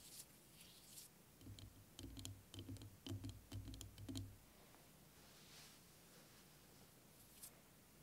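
A clear plastic liquid motion timer with a yellow cap, about hand height and partly filled with green liquid, is tapped and scratched with fingertips and nails. Faint scratching opens the clip, followed from about 2 to 4.5 seconds by a quick, uneven run of soft, dull taps with a low thump and bright clicky edges. It then settles back to quiet with a few light scratches.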